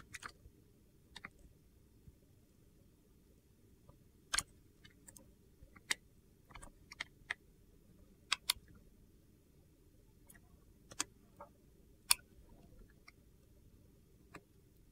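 A box-cutter blade scrapes and slices thin shavings from a solid, hand-sized, egg-shaped clear glycerin soap bar with colored soap cubes inside, held in one hand. About a dozen short, crisp, bright clicks and crunches are spaced irregularly over a quiet, steady low hum, each cutting off almost instantly.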